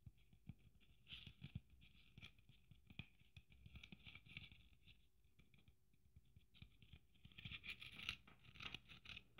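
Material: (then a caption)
Sequins. Long nails scratch and patter across the sequins of a red sequin Christmas ornament with gold braid. The result is quiet, dry, rapid scratchy rustling with short bright taps centered near 2.7 kHz, plus soft low thumps underneath. It grows busier and louder toward the end.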